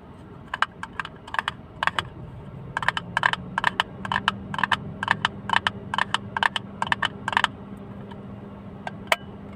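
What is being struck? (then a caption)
Small plastic hinged box. Fingernails tap quickly on a small, hollow blue plastic box with a flip lid, held open and empty in the hands. The result is bursts of short, bright, dry clicks with almost no ring, over a faint steady low hum.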